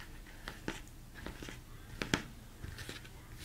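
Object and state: Plastic mixing bowl.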